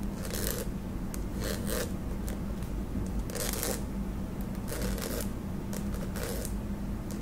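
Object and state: Plastic cream tube.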